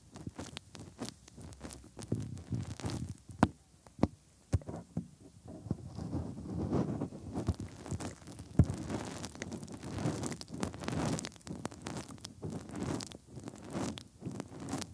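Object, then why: Silicone ears of a binaural microphone. Fingertips rub inside the hollow ear canals of the soft silicone ears of a 3Dio binaural microphone. The result is a close, muffled mix of low rumbling scrapes and soft thumps, broken by many brief, sharp, bright crackles.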